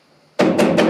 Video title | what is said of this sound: Conférence Minérale sur la Lithophonie avec Érik Gonthier CNRS au Fort de Tayac - Périgord Noir | c'est un bruit si vous faites une analyse j'ai ouvert un spectre qui montre que c'est un bruit